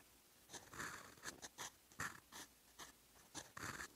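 A fountain pen's steel nib writes in blue ink on a lined paper sheet lying flat and solid on a desk. It makes quiet, bright, dry scratching in about nine short strokes with brief pauses between them.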